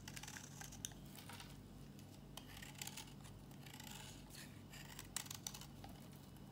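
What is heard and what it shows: An old, dry, solid pink bar of Tiffany soap, held in the palm, is shaved into flakes with a metal box-cutter blade. Quiet, crisp scraping and snipping strokes with bright, high-pitched crackle sit over a steady low hum, with a few sharper clicks standing out.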